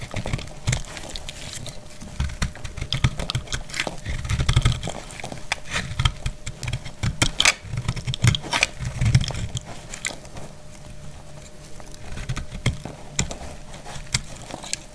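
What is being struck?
Strip of soap cut with a metal blade.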